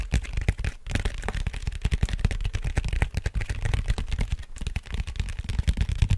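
A large, flat, hollow brown cardboard vinyl mailer printed in red with FRAGILE is held upright in both hands while fingertips and nails tap and scratch across its flat face. A dense run of quick, dry taps and scrapes follows, with a low, hollow thump under each tap and very little high-end brightness. Each hit dies away almost instantly.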